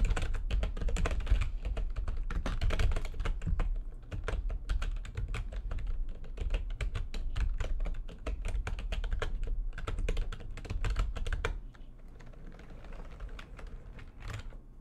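Fast, uneven typing with long nails and fingertips on a full-size plastic computer keyboard with white backlighting and a hollow housing. It makes a dense clatter of clicky taps over a deep, hollow low thump. The typing stops short of the end, leaving a few quieter, softer taps.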